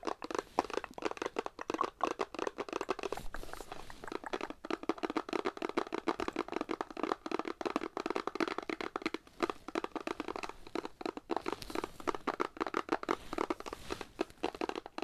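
A small Irish Spring bar-soap box made of paperboard, holding a bar of soap, is held in both hands and tapped and scratched with long acrylic nails. Rapid, dry tapping and crinkly scratching continue without a break, with the clicks too dense to count.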